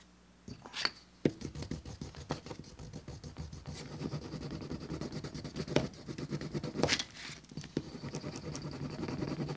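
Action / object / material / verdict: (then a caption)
scrape / veg-tanned cowhide leather piece rubbed with a wooden slicker / leather / none. A wooden slicker, held in the fingertips, rubs back and forth across the rough flesh side of a thin, solid, flat-cut piece of tan veg-tanned cowhide for a wallet, lying on a cutting mat. The result is a steady, dry, scratchy rasp with a soft low body, broken by a few sharper clicks and bright brushing sweeps.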